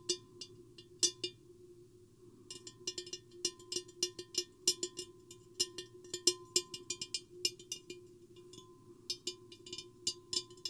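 Long painted fingernails and fingertips tap the sides of a medium-sized, empty, hollow clear glass vase with a square hourglass shape, with a microphone hanging inside it. Many quick, bright clicks and clinks sound in irregular bursts, each dying away almost at once over a steady low hum.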